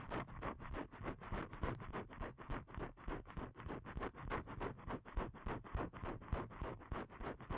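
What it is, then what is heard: Paper card scratched with fingernails. Fingernails scratch the surface of a thin, flat blue paper card (cardstock) held in both hands. The result is a rapid, steady series of short, dry scratching strokes, about three or four per second, with a full, low-weighted body and no ring after each stroke.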